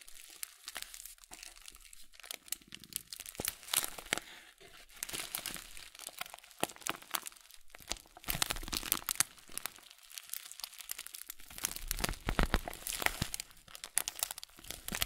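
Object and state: Full plastic bag of oat flakes.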